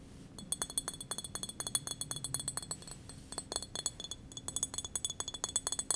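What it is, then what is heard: Glass wine bottle. A small, hollow green glass wine bottle with a paper label and screw cap is held in the hands and tapped rapidly with long fingernails. The result is a fast run of bright, sharp clinks that die away almost instantly. They come in bursts separated by brief pauses, over a soft low background.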